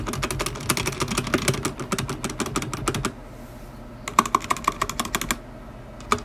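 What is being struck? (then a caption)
Mechanical keyboard with plastic keycaps. A black tenkeyless mechanical keyboard with plastic ABS keycaps, a metal top plate and stock, unlubed linear switches sits on a white desk while a single fingertip presses individual keys one by one. Quick, uneven clacking runs for about three seconds, with short sharp taps that have a mid-pitched knock and bright edges. After a near-silent pause, a second burst of separate taps follows, then one last keystroke.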